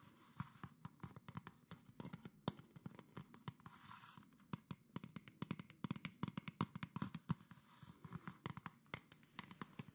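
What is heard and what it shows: A medium, mostly empty PET plastic Coca-Cola soda bottle with a red cap and red label is held in both hands and tapped and scratched with long nails along its sides and label. Rapid, quiet, sharp clicky taps with a hollow low body ring out over a soft, scratchy rustle, continuing steadily throughout.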